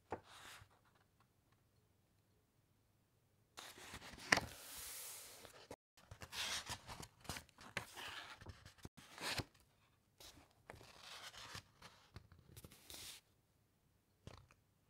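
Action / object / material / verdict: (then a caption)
scrape / thick encyclopaedia paper pages / paper / none. Fingertips rub the thick matte page of an open paper encyclopaedia, then grab the page edge and turn it. The result is quiet bursts of bright, papery rustling and crinkling, with one sharper crisp snap, separated by short near-silent gaps.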